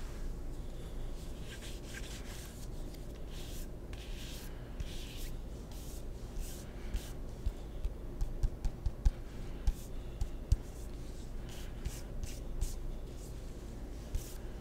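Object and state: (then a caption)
Wooden table tennis paddle with rubber faces. Fingertips tap and scratch a solid wooden table tennis paddle with red and black rubber faces. Quiet, bright scratching and rubbing swishes run throughout over a low steady hum. Soft, short taps cluster in the middle of the clip.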